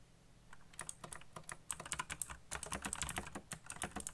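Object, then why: Mechanical computer keyboard with plastic keycaps. A black backlit mechanical computer keyboard with plastic keycaps is typed on with fingertips. A rapid stream of sharp, clicky key presses with bright, high-pitched attacks starts after a quiet half second and continues unevenly to the end, each click dying out almost instantly.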